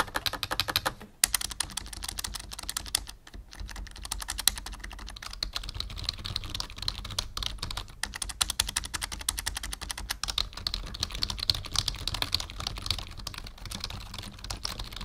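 Fingertips of both hands type steadily on the keys of a black full-size plastic membrane keyboard with a numpad, resting on a wooden desk. The result is a dense, fast stream of short, bright plastic clicks and taps with a faint low thud under each keystroke, broken by brief pauses near 1 and 3 seconds.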